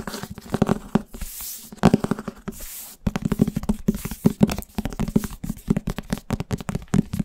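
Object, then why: Thick paperback book with glossy paper cover. A thick paperback book with a glossy paper cover, solid and held in one hand, is tapped and scratched fast with the fingertips and nails on its cover and spine. Quick, dry, low-pitched taps come in dense bursts, broken by short hissy scratching passages.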